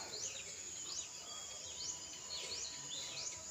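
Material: Nothing is struck.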